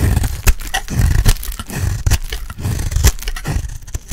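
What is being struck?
Bar of soap shaved with a small blade.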